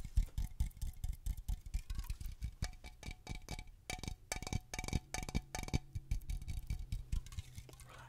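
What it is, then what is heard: Aluminium aerosol can. A cylindrical aluminum aerosol air freshener can is held close and tapped rapidly along its side with long fingernails. The result is a quick, irregular stream of short clicking taps with a heavy low thump. Each tap carries a faint metallic ring that dies away almost at once.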